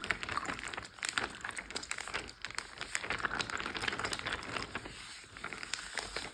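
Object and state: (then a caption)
Water-filled plastic bag. A clear, roughly gallon-size plastic Ziploc bag full of water lies flat on a teal surface while both hands tap, pat and scratch it with short painted nails and fingertips. The result is a steady run of quick, bright crinkling taps and scratchy plastic rustles with very little low end, each tap dying away almost instantly.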